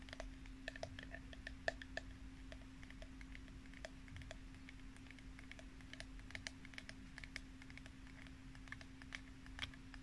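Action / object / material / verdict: tap / small plastic spray bottle / plastic / none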